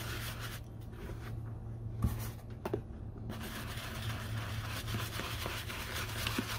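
A brown leather Red Wing Iron Ranger work boot, covered in saddle soap lather, is scrubbed with a small bristle dauber brush. Wet brushing and rubbing on the leather comes through as soft, bright scratchy strokes over a steady low hum, with a few sharper scrapes standing out.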